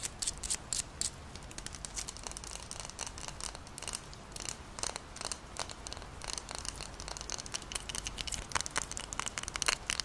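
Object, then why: Glass jar with paper label. Long nails scratch the paper label of a glass Moccona coffee jar full of granules and tap on its glass while the jar is tilted and held up. Soft, bright scratching runs throughout, broken by many short, sharp clicks and taps that die away almost instantly over a quiet low hiss.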